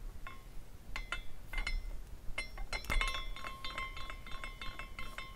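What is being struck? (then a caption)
Small glass carousel figurine with hanging glass pieces. A small clear glass carousel figurine spins on its own after being set in motion by hand, its suspended glass pieces swinging against each other. Irregular, bright glassy clinks and tinkles ring out like chimes, with sustained tones near 2 kHz and 1 kHz lingering over a soft low rumble.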